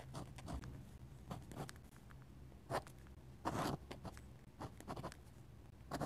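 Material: Paper.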